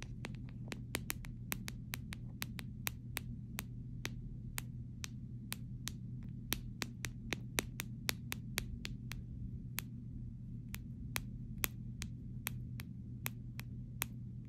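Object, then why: Clear plastic phone case. Short, rounded pink nails and fingertips tap across the flat back of a phone-sized clear plastic phone case with a liquid glitter insert of floating beads and stars, which lies on a grey cartoon-print fabric surface, seemingly over a phone. About 41 crisp, bright clicks come at an uneven pace, each dying out almost instantly over a steady low hum.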